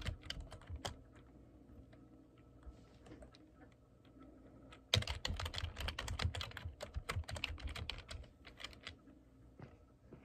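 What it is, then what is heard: Plastic computer keyboard being typed on. Fingertips type on the keys of a black plastic computer keyboard, making steady tapping with bright key clicks over a low thud. The typing is light and sparse for the first half, then turns louder and denser in a quick run of clicks before easing off near the end.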